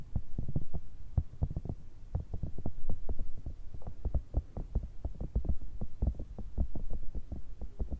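A grey, cylindrical, cat-shaped pencil case with a zipper, made of hollow soft silicone and held upright, is tapped and scratched with long red nails. The result is a rapid, irregular run of soft, muffled low thumps that die away almost instantly, with a faint low hum between them and no bright edge.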